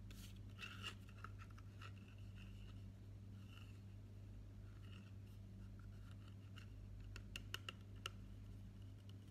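Fingertips and nails rub and scratch the printed sides of a tall green plastic body mist bottle, filled with liquid and held upright. Soft, dry scratching and rubbing come with sharp little ticks over a steady low hum.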